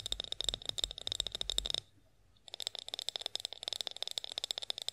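Long acrylic nails rapidly tap on a partly filled clear glass olive oil bottle with a black spout, held upright. The taps are sharp, bright glassy clicks with a ringing tone near 3.7 kHz and almost no low end. A burst of quick taps stops for about half a second, then resumes in a steady stream.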